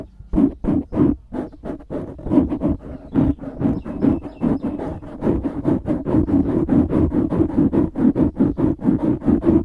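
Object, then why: Foam microphone windscreen. Fingertips scratch the sides of a black foam windscreen on a microphone, producing a steady run of quick, close, muffled rubbing bursts. The strokes come in a fast, loosely regular rhythm, each a short dull swish centered in the low mids with a faint bright edge and no lingering ring.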